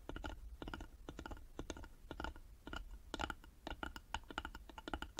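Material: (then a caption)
Wood. Long nails tap rapidly on the sides of a small hollow carved wooden box held in both hands. The result is quick clusters of dry, clicky taps with a soft low hollow thump beneath them. Each tap stops almost instantly, with brief pauses between bursts.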